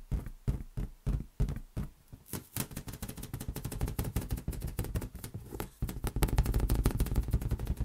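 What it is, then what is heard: Inflated latex balloon. A large, hollow, air-filled lime-green rubber latex balloon rests on an open palm while the fingertips of the other hand tap it rapidly, with an earphone cable lying on the table below. Separate deep, dull thumps come first, then quickly give way to a dense, fast patter of low, muffled taps. The tapping grows heavier and louder near the end.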